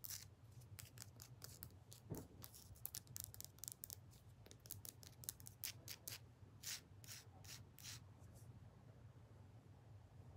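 A rock is tapped fast and aggressively with the fingers. Quick, sharp clicks with little ring come in a dense, uneven run over a steady low hum.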